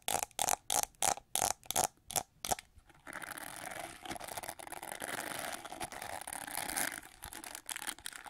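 Long nails scratch the back of a gold-plated, gold-winged plastic hair brush in a series of separate, bright rasping strokes, then move to its red plastic bristles. The bristle scratching becomes a steady, dense, crackling hiss that fills the rest of the clip.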